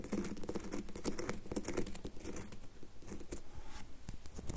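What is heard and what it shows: Long nails tap and scratch the face of a solid red bar of soap held in the hand. The result is a dense, fast patter of soft, dull clicks mixed with brief scratchy strokes, each tap dying away almost instantly.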